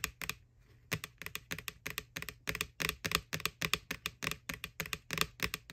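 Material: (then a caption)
Plastic. Long nails tap rapidly on the side of a white, hollow plastic ghost Halloween bucket from McDonald's, near its face. About 28 sharp, bright, clicky taps come in quick bursts after a short pause near the start. Each tap dies away almost instantly with little low end.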